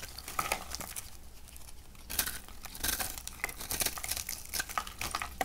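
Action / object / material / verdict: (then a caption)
scrape / bar of soap cut with a metal knife / soap / none. A hand-sized, dry purple and pink bar of soap held in the palm is scraped and cut into crumbly pieces with a metal knife blade. The clip has dry, crisp crinkling and scraping with many quick, bright ticks. There is a low hum underneath, and a few louder crunchy bursts stand out.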